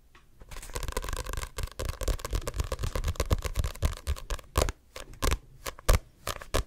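Fingertips scratch and tap the glossy card cover and spine of a Diary of a Wimpy Kid paperback, a solid paper book. A dense run of dry scratching leads into sharper, separate taps with a dull, low thump and almost no ring.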